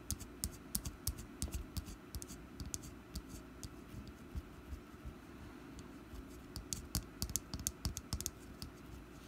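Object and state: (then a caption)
Wax pumpkin candle. Long black nails tap the side of a small, solid orange wax pumpkin candle resting on a table. The result is a steady run of quick, sharp, bright clicks over a low, soft rumble. The taps come in dense clusters at the start and again near the end, with a sparser, quieter stretch in between.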